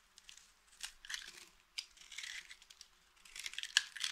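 A small, solid, mint-green dry soap bar held in the hand is scraped and carved with the metal blade of a green utility knife, shaving off flakes. The cuts make quiet, dry, bright scraping and crackling bursts with short crunchy transients and almost no low end, separated by brief pauses.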